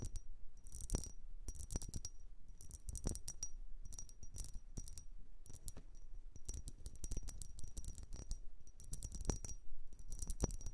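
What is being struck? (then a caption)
Vase. A blue vase is tapped and scratched in quick bursts of bright, clinking, coin-like hits. Sharp taps come in clustered runs at a steady, fairly quiet level, each dying away almost instantly, with a faint low thump beneath them.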